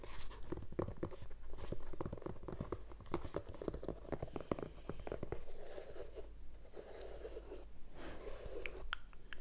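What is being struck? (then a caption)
Leather sneaker with rubber sole. Nails and fingertips scratch along the leather side and around the laces of a hollow, empty white leather sneaker with a rubber sole, held sideways. Dense, crunchy scratching and clicking fills the first half, then eases into a softer, steadier rustle with a few bright ticks near the end.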